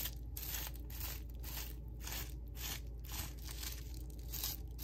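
Fingertips press down on a flat sheet of small-bubble clear plastic wrap lying on a table, popping the bubbles. Bright, crinkly pops and crackles come in quick, repeated bursts over a steady low hum.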